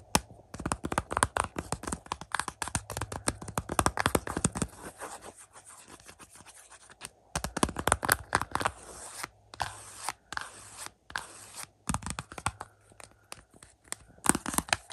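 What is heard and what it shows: Fingertips and nails scratch and tap the front of a Shaun of the Dead / Hot Fuzz / World's End 4K UHD Blu-ray set: a glossy cardboard slipcover over a hollow plastic case, resting on a carpet. Dense bursts of dry, bright scratching alternate with quick, short taps that die away almost instantly. A quieter stretch of soft rubbing comes in the middle, and a few brief silent gaps fall near the end.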